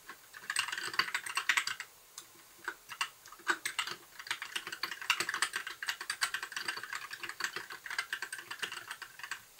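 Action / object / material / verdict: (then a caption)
tap / plastic mechanical keyboard / plastic / none. Fingertips of both hands type on a compact white mechanical keyboard with plastic keycaps and a blue backlight. Rapid, bright, clacky keystrokes come in quick bursts with short pauses between phrases, each click dying away almost instantly.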